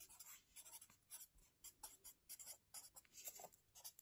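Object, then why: Felt-tip marker on paper notebook page. A felt-tip marker held in the fingers scratches across the lined paper pages of a small spiral-bound notebook lying flat on a table while writing. Quiet, bright, papery strokes come in quick, uneven bursts with short gaps between them, and barely any low end.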